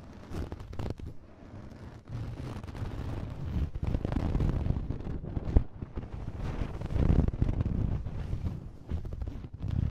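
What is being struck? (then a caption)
Cotton cloth over a microphone. Thin white cotton fabric, wrapped over a hidden microphone and held with both hands, is scratched and rubbed with fingertips and nails. The result is a dense, muffled stream of low, rumbling friction and scraping, with short brighter scratch bursts rising and falling in loudness throughout.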